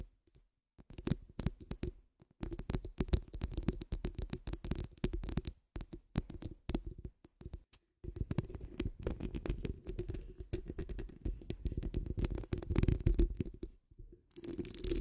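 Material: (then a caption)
Steel mesh. Long acrylic nails of both hands scratch the rounded, hollow steel wire-mesh grille of a large condenser microphone. The result is dense, rapid scratching and tapping that sounds heavy and rumbly, mostly low with a faint bright fizz. It comes in long bursts broken by a few short silences.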